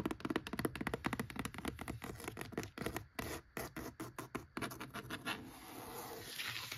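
Long acrylic nails scratch across the worn cloth-over-board top cover and along the edge of a single old, thick, solid hardcover book lying flat on a wooden shelf. A rapid run of short, dry scratching strokes turns into sparser, separated scrapes midway, then settles into a steady, softer continuous rasp with a bright hiss.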